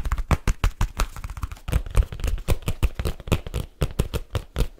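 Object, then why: Leather case. Fingertips and nails tap quickly on the cover and edges of a black leather case held at an angle. The result is a fast, uneven run of dull, low, dry taps with almost no ring, plus a faint scratchy texture between them.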